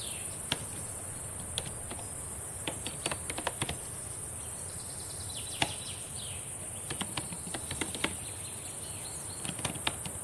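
Long painted nails and fingertips tap on the plastic keys of a black laptop keyboard, making sparse, irregular, short clicks with a quick, dry decay. The taps sit over a quiet, steady bed of high hiss.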